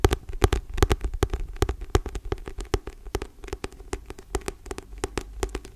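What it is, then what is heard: Paperback book. Long painted nails and fingertips tap and scratch the paper cover and spine of a thick, solid paperback book held close to the microphone. The result is a quick, irregular run of soft, dry clicks with a low thumpy body and faint scratchy rustle between them, each tap dying away almost instantly.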